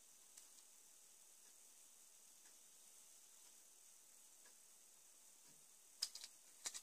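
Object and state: Plastic Lego car chassis.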